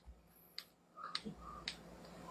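An airsoft gun with a fixed outer barrel is shaken to check for looseness, giving five short, dry, bright clicks over a low background hum. No rattle comes from the barrel; it stays tight.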